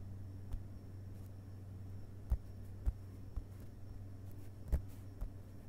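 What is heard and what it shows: The fingerpads of both hands lightly tap the paper pages of an open hardcover book resting on a carpet. Several soft, dull, low thuds come at irregular intervals over a quiet, steady low hum, each dying away almost at once.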